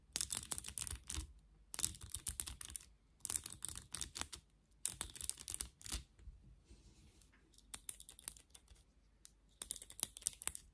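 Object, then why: Plastic vent hairbrush with bristles. Long nails scratch the bristles of a black plastic vented hairbrush with a rubber-grip handle and hair caught in the bristles. The sound is quick bursts of dry, bright, crackly clicking, separated by short quiet pauses, with sharp ticks that stop instantly.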